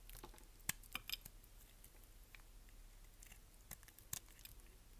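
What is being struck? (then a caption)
Bar of soap shaved with a blade. A solid, dry, green-and-white striped bar of soap is held in the hand and shaved with a utility knife blade, peeling off green curls. Quiet, irregular, crisp scraping clicks and short bright crackles sound over a soft low hum, with sharper snaps near the start and toward the end.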